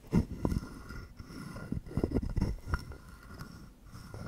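A hand-sized carved wooden frog guiro, hollow with a ridged back and held in one palm, has a wooden stick scraped along its ridges and tapped against its body. The result is a quiet series of short, dry, woody taps and raspy scrapes with a low, hollow body tone and almost no ring.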